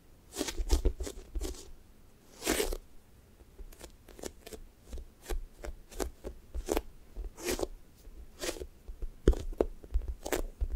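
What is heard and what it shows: Flat fingers press into a thick strawberry toast squishy made of soft, solid foam with a pink sticky top, then peel off. Each peel gives a short, crackly, tacky snap that spreads up into bright hiss, over soft low thuds of pressing. These come in a steady series of quick bursts with brief quiet gaps between them.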